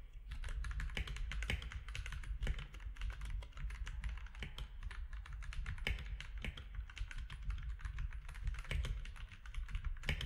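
Fingertips of both hands type steadily on a compact mechanical keyboard with grey, white and orange plastic keycaps. The sound is a fast, continuous stream of short, sharp plastic clacks with bright click edges over a heavy low thock and rumble. The keystrokes blur into a dense, even patter for the whole clip.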